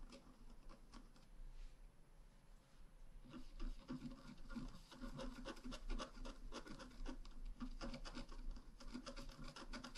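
A wooden stylus scratches lines into a flat, black-coated scratch art paper card held down with one hand, working near the bicycle. Quiet, dry scratching and rasping strokes come in an irregular stream, sparse for the first few seconds and then denser and a little louder, with bright edges and very short decay.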